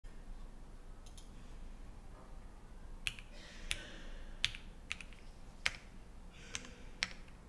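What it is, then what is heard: Mechanical keyboard, keys pressed. A Think6.5 v3 compact 65% mechanical keyboard, fully assembled with a black metal case, white GMK Dots ABS keycaps, foam inside, an FR4 plate and Harmony linear switches, sits on a wooden desk and is typed on rapidly with fingertips. After about three seconds of faint low hiss, sharp, short, bright keystroke clacks ring out one after another, each dying away almost instantly.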